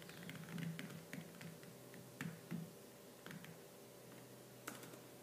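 Fingertips with purple nails type fast and hard on the black plastic keys of a laptop keyboard. Quiet, irregular clacks and bright taps are heard over a steady low hum.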